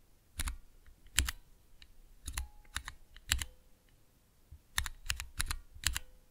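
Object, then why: Plastic mechanical key switch tester. Slow single fingertip presses on the keys of a small clear plastic Cherry MX switch tester with transparent keycaps give sharp, bright plastic clicks with a dull low thump. Some presses sound as doubled clicks, and each dies away almost at once with short quiet gaps between presses.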